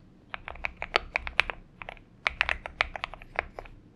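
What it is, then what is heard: Aluminum mechanical keyboard being typed on. Both hands' fingertips type continuously on a purple-backlit Xinmeng M71 70% mechanical keyboard with an aluminum case and PBT keycaps, resting on a desk mat. About nineteen sharp, bright keystroke clacks sound in an irregular rhythm, each dying away almost instantly, with little low end beneath them.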